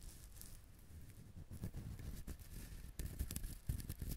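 Fingertips rub and scratch the hard fibrous shell of a whole coconut held in the hands. The quiet, low, muffled scraping and rustling comes in uneven bursts with brief bright scratchy edges, growing a little louder toward the end.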